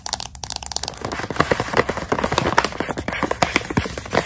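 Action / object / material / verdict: tap / plastic pouch of dried coconut strips / plastic / none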